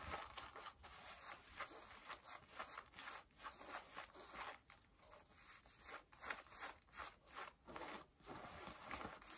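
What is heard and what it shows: Long nails scratch and rub the back pockets and waistband of worn, mid-blue cotton denim jeans. The result is a quiet series of dry, bright rasping strokes that swell and fade one after another, with almost no low end.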